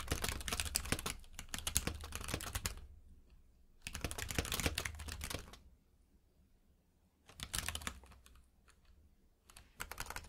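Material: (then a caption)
Plastic. Both hands type rapidly with their fingertips on a compact mechanical keyboard with plastic keycaps in a grey frame, lying on a purple rug. Dense bursts of crisp, bright key clicks with a low thocky undertone come in four runs, separated by short quiet pauses.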